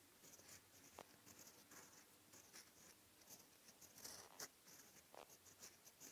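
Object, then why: Steel fountain pen nib on writing paper. A steel-nib fountain pen, held in the fingertips, makes slow handwriting strokes across a flat sheet of white lined writing paper. The quiet, bright, dry scratching comes in short separate strokes over a faint hiss, with a few sharper scrapes standing out.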